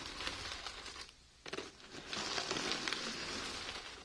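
A small drawstring burlap sack printed "Heart of the Desert Pistachios," full of nuts, is held in both hands with long painted nails while the nuts are shaken and the bag squeezed. The result is a bright, rain-like patter and crinkle of shifting shells, with a brief quieter pause before the rustling swells again.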